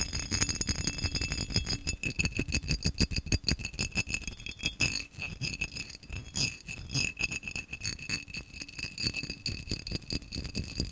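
A tall, hollow, apparently empty cobalt-blue vase of textured, cut-pattern glass is held in one hand and tapped quickly with fingernails. The result is a dense, irregular stream of sharp clicks and rattles, each dying away almost instantly. A faint glassy ring around 2.7 kHz and higher bright tones sound through the clicks.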